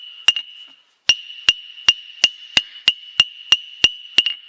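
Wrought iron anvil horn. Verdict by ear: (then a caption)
Cracked. The horn of a wrought iron anvil, whose forge welds are failing and whose cracked face is coming loose, is struck about a dozen times in a steady series after a single opening strike and a short pause. Each strike gives a bright metallic ping with a clear tone near 2.8 kHz and a short ring. The horn rings fairly well, though the cracked body dampens its vibration a little.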